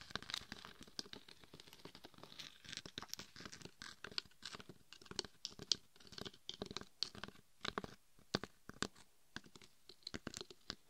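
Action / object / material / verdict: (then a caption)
scrape / glitter-coated hard plastic mannequin head / plastic / none. Long red and gold nails scratch and tap across the glittery face and sides of a hard-shelled, gold and red glitter-coated mannequin head that serves as a binaural microphone. The result is a dense run of quick, dry, bright scratches and crisp taps with no ring, mostly high-pitched, at a quiet level.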